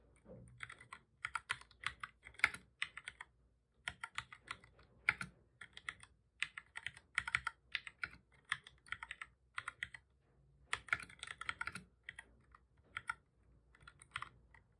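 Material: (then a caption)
Plastic. Fingertips of both hands type on a black full-size plastic computer keyboard, pressing keys over and over. The result is rapid bursts of short, dry, bright plastic clicks centered around 2 kHz, separated by brief pauses.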